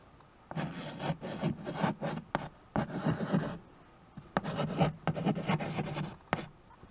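White chalk is scratched across the dark surface of a small, flat chalkboard in a wooden frame while names are written. The result is two bursts of quick, raspy rubbing strokes separated by a short pause, with a low hum-like tone near 184 Hz under a bright, gritty scrape.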